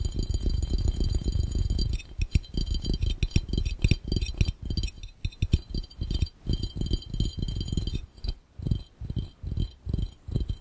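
Fingertips of both hands tap rapidly on an empty, hollow, clear round glass fishbowl. The first two seconds are a dense, continuous patter, which then breaks into quick bursts of distinct taps. The taps are dull, low thuds that die away almost instantly, with only a faint bright glassy ring above them.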